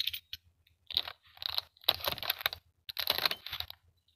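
Fingertips with short nails tap and scratch the lid of a medium, hollow clear plastic clamshell box holding toys, with a printed Hello Kitty card insert on top, as it lies on a textured dark mat. The sound is a series of bright, dry, crinkly crunching bursts of scratching and tapping, with no lingering ring and almost nothing in the low end.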